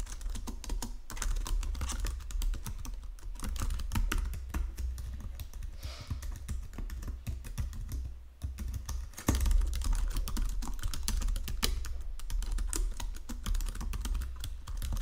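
Fingertips with painted nails type across the low-profile keys of a full-size white and silver plastic Logitech keyboard resting on a marble desk. A steady stream of quick, short clicks and soft thuds runs throughout, dipping briefly just before the ninth second before the typing picks back up slightly louder.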